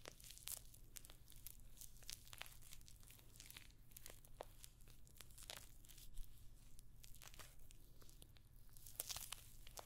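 Long nails scratch across the rows of small rose-gold metallic pyramid studs covering a hollow rectangular clutch purse held close to the microphone. The sound is a dense stream of quick, bright, crinkly scratches and ticks, some sharper than others, over a steady low hum.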